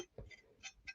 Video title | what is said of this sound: Saturday Night Stream - Have a chat and a laugh! #livestream #livestreams 📱 | listen to that sad old dull sound